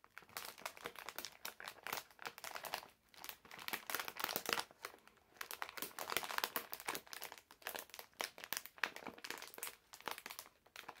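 A medium printed plastic-film bag full of hard candies is held in both hands while fingertips squeeze, fold and crinkle it. Dense, bright crackling comes in uneven bursts with brief quiet gaps near 3 and 5 seconds, and it has almost no low end.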